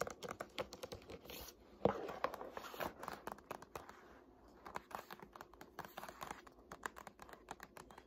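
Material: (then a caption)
Paper. Long nails tap and scratch the blue paper endpaper, backed by board, inside the open cover of a hardcover Art History textbook. Rapid, soft, dry taps mix with papery scratching and rustling. Each tap dies away almost instantly.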